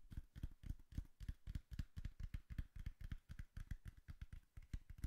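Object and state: Cardboard box.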